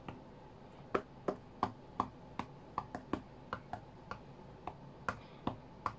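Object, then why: Glass tablet touchscreen. Fingertips of both hands tap the glass touchscreen of an iPad tablet lying flat on a cutting mat. Sixteen short, dry taps land at an uneven pace, each a quick click with a faint hollow body that dies away almost at once over a quiet background.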